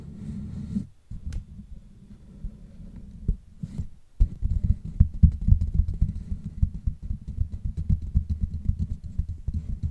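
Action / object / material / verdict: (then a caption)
scrape / woven metal mesh microphone grille / metal mesh / none. Long manicured nails of both hands scratch and tap across the hollow black woven metal mesh grille on the head of a Blue Yeti USB microphone. The result is a dense stream of low, thumping rubs and scratches, with two brief silences near the start before the tapping grows louder and steadier.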